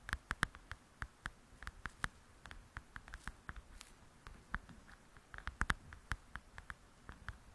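Long acrylic nails tap and scratch the cover of a softcover paper coloring book lying flat and solid. About thirty quiet, dry clicks come in an uneven patter, each dying almost instantly with a light midrange tick near 1.6 kHz, mixed with soft scratchy brushing between taps.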